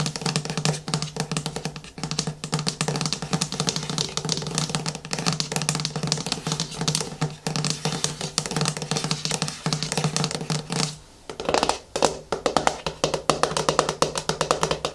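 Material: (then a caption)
Plastic. Fingertips and nails grip the sides and tap the screw lid of a medium yellow-and-white plastic Garnier Fructis Banana Hair Food tub standing on a wooden table. A dense run of quick, dry plastic taps and scratches fills the clip, with a steady low hum underneath. The sound briefly drops out near 11 seconds before the tapping resumes.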